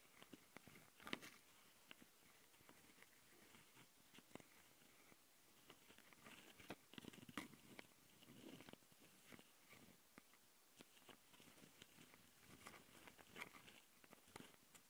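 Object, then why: Plastic handheld audio recorder housing. Long nails on both hands scratch and tap the mic capsule housings of a handheld plastic Tascam audio recorder. Quiet, bright scratching rustles along under sharp, dry clicks and taps that stop almost instantly, scattered irregularly through the clip.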